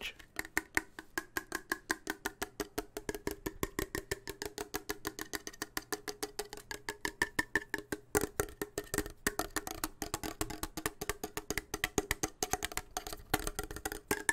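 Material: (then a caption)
Steel. A closed, full steel soup can with a blue and yellow label is held in both hands and tapped with fingertips and nails on its metal end and sides. The result is a steady stream of quick, dry taps with very short decay, a hollow midrange knock and a faint high metallic tone.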